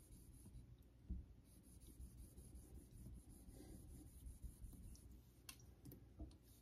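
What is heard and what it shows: A vintage Geneva Cutlery steel straight razor is honed in repeated strokes across a solid pale synthetic Naniwa Super Stone whetstone set in a holder. The result is a quiet, low, steady rubbing scrape with faint, brief bright ticks as the blade moves over the stone.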